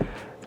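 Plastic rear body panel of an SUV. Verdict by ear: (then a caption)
Hollow. A single knock on a rear body panel of a 2015 Mitsubishi Outlander PHEV that looks like metal but is mostly plastic. It gives a short, dull, hollow thud with a low pitch that dies away quickly. The hollow plastic sound is presented as a cost-cutting flaw.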